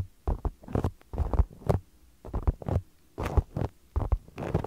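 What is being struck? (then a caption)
Small polyurethane foam soccer-pattern balls. Two identical small, solid polyurethane foam stress balls with a soccer-ball pattern are held against the microphone and tapped and stroked with fingertips. The result is a run of soft, muffled, bass-heavy thumps and brushing rustles in uneven clusters, with brief bright edges and almost no ring between them.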